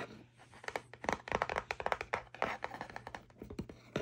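Fingertips tap on top of a small, hollow kraft cardboard cutlery box resting on bedding, and long nails scratch along its side panel. The result is a dense run of quick, dry, papery taps and scratchy rasps with very short decay and a midrange body, over a faint steady low hum.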